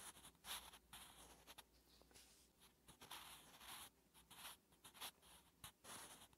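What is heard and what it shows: A wooden graphite pencil, held in the fingertips, writes Korean letters on a thin lined notebook page resting on a flat surface. The graphite scratches across the paper in quiet, bright, hissy strokes. The strokes come in short bursts separated by brief pauses.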